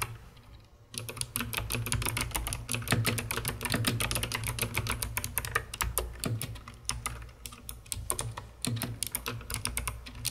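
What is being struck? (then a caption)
Plastic mechanical keyboard. Long red-painted nails and fingertips type rapidly on a hollow, full-size COX CK900 S2 mechanical keyboard with white plastic keycaps, a dark plastic case, and some keys lit purple. After about a second of near silence, a dense stream of sharp, bright plastic clacks begins over a steady low hum. The typing continues to the end with only brief pauses.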